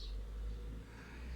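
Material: Nothing is struck.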